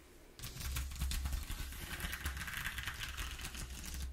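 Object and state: Corrugated cardboard sheet.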